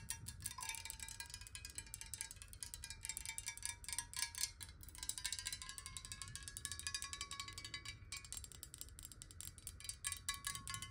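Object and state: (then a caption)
Glass water bottle. Long nails tap rapidly on the sides of a clear, square-sided glass water bottle that is hollow and partly filled with water, tilted so the water moves inside. Quiet, fast, bright clicks run continuously, each dying almost instantly, over a faint wavering tone near 1 kHz that shifts as the water moves.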